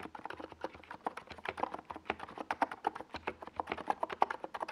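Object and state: Plastic mechanical keyboard with tall plastic keycaps.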